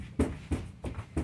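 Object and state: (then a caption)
Hollow camper wall panel. Four taps on an interior wall panel of a 2023 Hideout 177 camper give dull, low, hollow knocks that die away quickly. The panel has no solid backing behind it, so it is probably not a good spot to mount a second unit.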